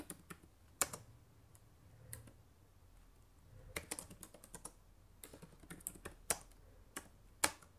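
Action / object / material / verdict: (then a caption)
tap / plastic laptop keyboard / plastic / none. Fingertips type on the plastic keys of a black laptop keyboard. About fourteen sharp, bright clicks come in an irregular rhythm, each dying away almost instantly, with softer taps and a low, quiet background between them.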